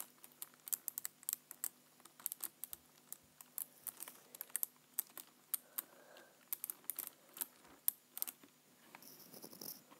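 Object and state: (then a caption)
Plastic computer keyboard. Fingertips tap the keys and the space bar area of a black plastic computer keyboard, making about 41 quiet, bright, dry clicks with no ring. The taps come in quick irregular bursts, ending with a softer, rustling stretch of lighter tapping.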